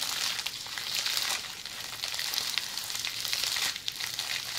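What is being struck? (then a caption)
Plastic bubble wrap rolled into a tube. Long polished fingernails scratch a tube of red plastic bubble wrap that is rolled hollow and held upright. They make a steady, bright, crackling hiss like sizzling, with scattered sharp clicks and almost no low end.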